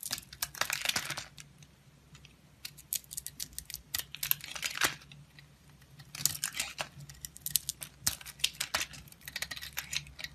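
A utility knife blade carves a solid oval soap bar, painted orange with dark spots and held in the hand, shaving through to the yellow soap inside. Bursts of bright, crisp scraping and shaving come in clustered strokes with short quiet gaps, over a faint steady low hum.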